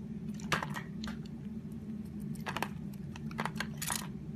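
A solid purple Palmolive soap bar is held in hand while its surface is shaved into curls with a utility knife blade. Short, dry, crackly scraping bursts with bright edges come in uneven clusters over a steady low hum.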